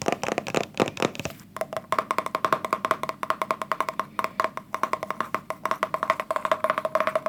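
Fingers tap rapidly and steadily on a plastic hair gel tub, making a continuous run of short, hollow, wood-block-like clicks. Each tap dies away almost at once, with a bright resonance around 1 kHz and almost no low end.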